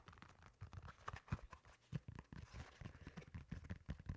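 Fingertips tap and scratch the upper and textured sole of a solid, beige molded foam slide sandal. The result is a quiet stream of soft, dull, low thuds mixed with light scratching, with no ring after each touch.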